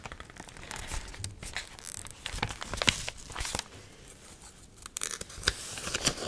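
A dried, water-wrinkled magazine page printed with an onion photo is curled, bent and crinkled with fingertips and nails. Dense, bright crackling and crinkling comes in irregular bursts with tearing-like rasps, loudest around the middle and again near the end, with a quieter stretch in between.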